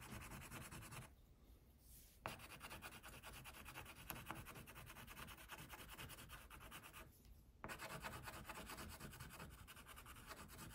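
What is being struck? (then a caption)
Wax crayon on paper sheet. A hand rubs an orange wax crayon back and forth over a flat white paper coloring sheet, near the tiger's leg on the page. Dense, scratchy waxy strokes rasp steadily across a broad range. Two brief quieter pauses break the coloring before it resumes.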